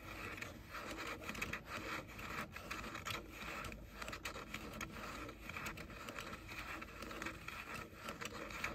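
Fingertips and short nails rub and scratch the hollow pink plastic ear cups of JBL over-ear headphones held in both hands. The result is a quiet, continuous, grainy scratching and rubbing texture with many small clicks and swishes and a bright, hollow plastic edge.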